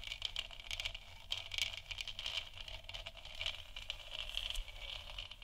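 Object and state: Plastic moon lamp scratched.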